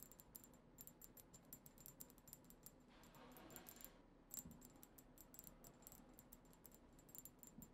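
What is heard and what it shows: A tall, cylindrical, dark-tinted glass perfume bottle with a black cap and liquid inside is rapidly tapped with the long acrylic nails of both hands. Quick, bright clicks with a high glassy ring fire in a steady stream and decay almost at once, and a denser, hissier run of taps fills the middle of the clip. It sounds quiet and close.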